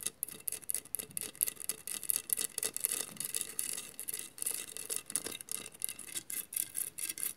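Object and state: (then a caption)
Glass mosaic vase scratched with nails. Long matte nails scratch across a hollow glass mosaic vase covered in mirrored glass tiles. Rapid, repeated scratching strokes produce bright, crisp rasping bursts with little low end and almost no ring after each stroke.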